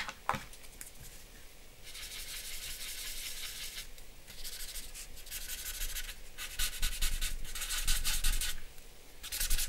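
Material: Paper.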